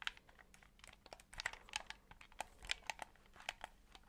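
A white, hollow plastic Xbox 360-style game controller is held in both hands close to the mic while fingertips tap its shell and press and click its buttons. The result is a quiet, fast run of about twenty short, dry, bright plastic clicks and taps, with almost no low end and no ringing.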